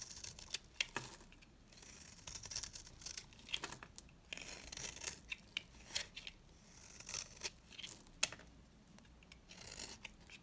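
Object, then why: Bar of soap cut with a blade. A dry, yellow, rounded-rectangle bar of soap is held in the hand and scraped and carved with a box-cutter blade. The sound is a series of crisp, bright, hissing scrapes, punctuated by sharp little snaps as the blade bites in and pieces break off. There is almost no low end and no ring after each stroke.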